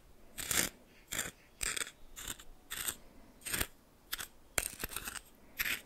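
A red plastic spoon stirs and scrapes coarse salt in a small bowl in a repeated motion. Short bursts of bright, gritty crunching and scraping come one after another, separated by near-silence.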